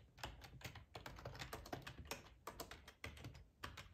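Fingertips type on a black plastic ergonomic split keyboard with a hollow housing, resting on a cloth tablecloth. A quick, uneven run of soft, hollow key clicks with a bright tick on top and a low thud beneath, each click dying away almost at once.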